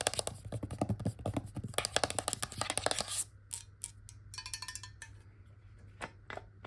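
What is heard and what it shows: Long fingernails tap on a clear glass bottle held horizontally with water inside. A dense run of bright, short clicks fills the first three seconds, then thins into slower, scattered taps with a faint ring near 600 Hz. A steady low hum sits underneath throughout.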